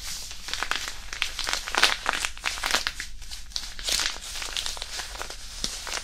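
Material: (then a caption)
Iron powder. A small white disposable hand warmer, a non-woven fabric pouch filled with iron powder, is crumpled and squeezed in the fingers above and beside the mic. It makes a steady stream of close, bright, gritty crinkling and rustling, with short crunchy bursts as the powder shifts inside the fabric.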